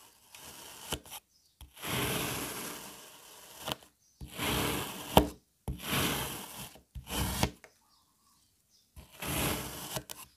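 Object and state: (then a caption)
Kinetic sand being sliced with a knife. A black serrated knife slices a single solid red kinetic sand puzzle piece into strips and chunks. Six gritty, rasping cutting strokes are heard, separated by brief silences, with a few sharp ticks as the blade meets the surface beneath.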